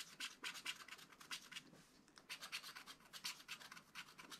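A wooden stylus scratches fine lines into the black wax coating of a flat scratch-art paper page in a spiral pad. The dense, quick strokes make bright, dry, high scratching with almost no low end and a brief lull near the middle.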